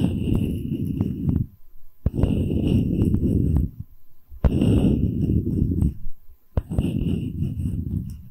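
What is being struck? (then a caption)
Wooden tree slice coaster with bark. A solid wooden tree-slice coaster with bark, held flat, has its top surface tapped rapidly with long red nails. The result is four dense bursts of quick, dull, low-heavy tapping, separated by short pauses, each opening with a sharper click.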